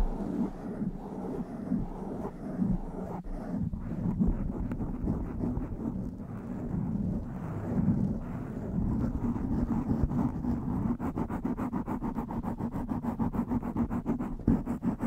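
Long fingernails of both hands scratch and brush across the top and sides of a blue foam windscreen on a black microphone. The result is a close, muffled, low rustling with a steady hum-like tone. It turns into a fast, even run of short scratching strokes toward the end.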